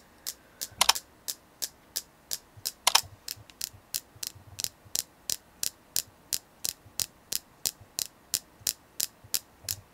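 Fingernails tap on a selenite crystal in 29 short, dry, bright clicks that stop almost instantly. A couple of louder clustered taps come early on, then the rest settle into a fairly steady rhythm over a faint background hum.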